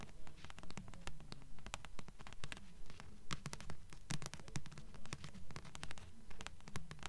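Long nails tap and scratch the glossy front cover of a thick blue paperback book with solid paper, held upright in both hands. A steady, regular run of soft, dull taps with bright clicky edges and scratchy rasps, each dying away quickly.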